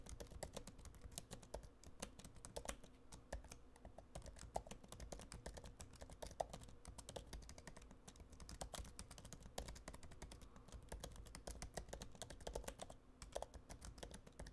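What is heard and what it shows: Both hands type with their fingertips on the built-in low-profile scissor-switch keyboard of a silver aluminum MacBook Pro laptop with black plastic keys. A steady, quiet stream of rapid, soft clicks and muted thuds continues throughout, with occasional sharper taps standing out. Each keystroke dies away almost instantly, and the sound stays weighted toward the low end.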